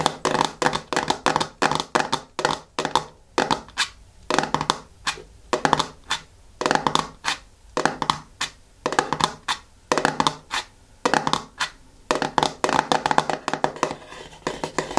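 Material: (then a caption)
Plastic. Fingertips of both hands tap and scratch the top of the lid of a medium yellow plastic hair mask jar at close range. Rapid bursts of dry, clicky taps and scratchy strokes come in quick clusters with brief pauses between. Each hit stops almost at once with no ring, and the tone is a hollow midrange plastic click.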